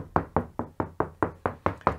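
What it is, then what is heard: Hollow plasterboard stud wall. Nine evenly spaced taps on a stud wall where lath and plaster was replaced with two layers of 12mm plasterboard on studs. Each tap is a short, dull knock centred around 1 kHz that dies away quickly. The sound is consistently hollow, as expected for plasterboard away from a stud.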